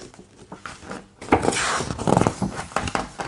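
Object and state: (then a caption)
Hardcover art book, glossy pages. A large hardcover art book with thick glossy paper pages lies open as fingertips tap and trace over the pages. A thick page is then lifted and flipped with a papery crinkle. Soft taps and rustles come first, then a louder, fuller swish of the turning page with short crackling touches after it.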